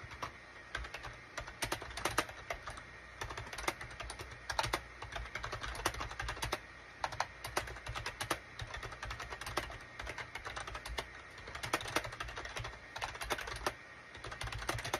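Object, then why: Plastic computer keyboard. Fingertips type steadily on the keys of a full-size gray and cream SHIPADOO K600 wired USB plastic keyboard with a hollow plastic case, resting on a desk mat. Quick, sharp clacks with short bright ticks come in continuous bursts and brief pauses over a faint, steady low hum.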